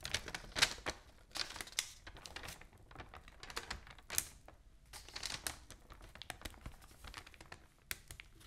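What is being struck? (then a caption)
Open newsprint newspaper. An open newsprint newspaper has its pages lifted, crinkled and turned by hand while long nails scratch across the page surface. Bright, dry crinkling and rustling come in uneven bursts, with sharp scratchy clicks between them. The sound stays mostly high and thin, with little low end and very short decay.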